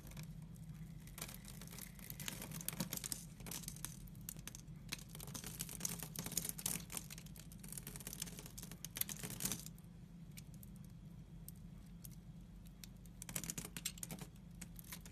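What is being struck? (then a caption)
Glycerin soap bar cut with a knife. A utility knife shaves scored cubes off a solid, translucent brown glycerin soap bar held in the hand, producing crisp, dry scraping and crumbling bursts with a bright edge. The cutting runs in dense clusters for most of the first ten seconds, drops to a quieter stretch, then returns in a short final burst. A steady low hum sits underneath throughout.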